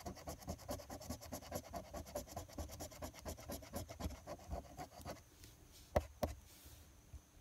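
A coin rapidly scratches the latex coating in the Game 2 area of a flat paper lottery scratch-off ticket held flat with one hand. About five seconds of fast, rasping scratch strokes follow, then the scratching stops. Two sharper scrapes sound near the end.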